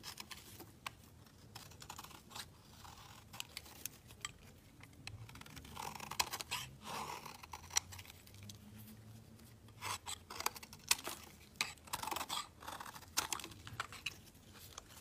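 A solid, pale yellow soap bar held in the fingers is shaved and scraped with a metal utility blade. The result is a quiet run of crisp, bright scraping and shaving strokes, broken by sharp snapping clicks and short rasps that come in clusters.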